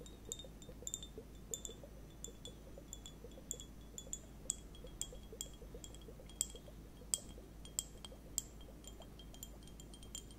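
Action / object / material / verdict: tap / plastic liquid hourglass timer with beads / plastic / none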